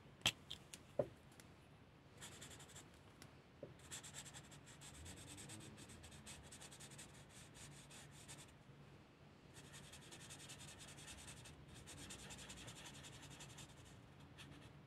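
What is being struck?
Felt-tip marker on a thin paper coloring page.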